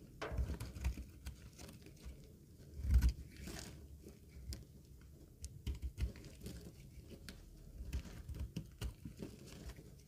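A utility knife blade shaves curls off a green, rectangular, solid bar of dry soap held in the hand. The result is a quiet run of short, dry scraping and crackling cuts, heavy in low tones with a brief louder scrape near the middle, and each stroke dies away almost instantly.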